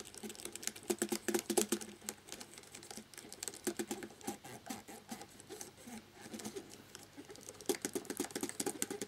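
A cotton swab scrubs quickly between the keys of a black plastic laptop keyboard with the keycaps on, making dense, quiet patter of small, dry clicks over soft rubbing, with a midrange body and bright tops. The clicking comes in busy bursts at the start and end, with sparser, gentler scrubbing in between.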